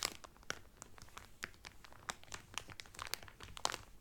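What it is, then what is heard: Cellophane-wrapped towel being scratched. A folded cotton Carnival Cruise towel wrapped in cellophane is rubbed and scratched lightly by both hands with fingertips and nails. Quiet, bright crinkles and crackles come in a dense run of short, dry snaps with almost no ring.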